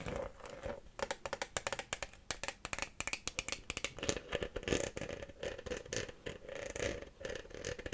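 An empty, hollow, clear Bonaqua PET plastic water bottle is held in the hands and tapped and scratched with long fingernails. Quick, dry clicks come in rapid bursts, mixed with scratchy rasps across the plastic. A hollow resonance sits around 430 Hz, and each tap dies away almost at once under bright, crinkly high detail.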